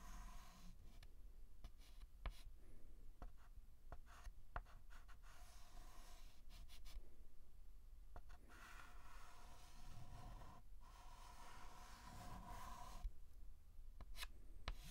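A white chalk stick is scratched in line strokes across a large flat blackboard while outlining a letter. Quiet, dry scratching strokes come in bursts, with sharp little taps where the chalk meets the board, over a steady low hum.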